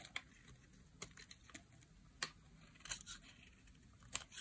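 A metal blade carves the edge of a solid, dry green bar of soap held by fingers with long black nails. About ten quiet, sharp, dry scraping clicks sound, bright and high with almost no ring, separated by soft gaps of faint noise.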